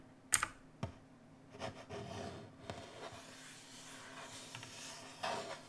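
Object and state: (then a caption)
Plastic mechanical keyboard. A full-size black mechanical keyboard with plastic keycaps on a metal-look top plate, RGB backlit and resting on a wooden desk, is typed on with the bare fingertips of both hands. A few sharp, bright clicks open the clip, followed by softer rubbing, scratchy key taps and a final louder burst of clatter near the end. The keystrokes decay almost instantly, with no ringing.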